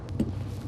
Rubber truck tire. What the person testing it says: 이건 통한데 이거는 퍽 하잖아요